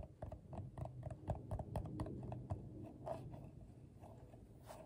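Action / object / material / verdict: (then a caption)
tap / coiled paper bowl / paper / none. Fingertips tap a medium, hollow, empty bowl made of coiled colorful paper, first on the base and then on the side wall as the bowl is turned. The result is an irregular series of soft, dull, papery knocks with a low, hollow body and almost no ring.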